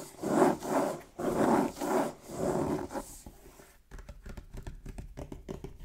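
Fingertips and nails rub and scratch the printed top of a medium, hollow, still-sealed cardboard Pokémon Fusion Strike Elite Trainer Box lying on a wooden table, both hands gripping its edges. Five broad, hollow rubbing swells come first, each with a soft bright hiss. They give way to quieter, quick, dry scratching ticks.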